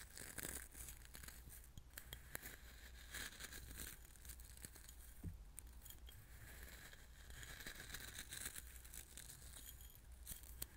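Fingertips pinch, stir and rub loose coarse salt in a small clear glass bowl. The sound is a steady, quiet, gritty crunching and crinkling with bright scraping grain noise and scattered sharp little clicks over a low background rumble.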